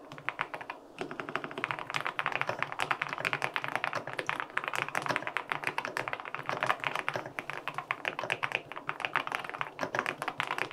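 Fingertips type rapidly on a white LINK65 mechanical keyboard with an aluminum case and white and pink plastic keycaps. A dense, steady stream of short, crisp clacks continues for about ten seconds after a brief pause near the start. The taps have a mid-range tone with some bright click and almost no low end.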